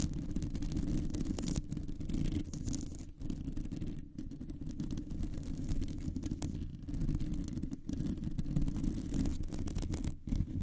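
Long nails scratch and grip the mesh of a round, hollow metal microphone grille. The result is a dense, continuous low rumbling scrape, heavy in the bass with almost no high content, holding steady for the whole clip apart from a few brief dips.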